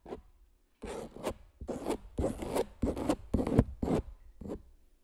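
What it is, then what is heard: Palette knife scraping a stretched canvas print. A metal palette knife scrapes and scratches across the surface of a large stretched canvas print coated with clear medium. A series of short, rough, rasping strokes follows in an uneven rhythm, each a dry, broadband scrape with a fuller low body and little sustain between strokes.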